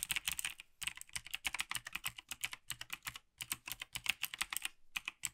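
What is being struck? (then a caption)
Plastic mechanical keyboard. A gloved hand taps the keys of a black plastic Logitech G PRO TKL tenkeyless mechanical gaming keyboard, then two gloved hands start typing. The result is a fast, dense stream of short, dry, bright plastic clacks with almost no low end. The bursts are broken by brief pauses.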